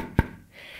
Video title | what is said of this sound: DIY - OSTEREI AUS TOILETTENPAPIER - OSTERNEST basteln nur mit Wasser ohne Kleber - DekoideenReich | die Eier sind richtig gut durchgetrocknet und ausgehärtet. Das hört man auch, wenn man draufklopft. Wenn die so hohl klingen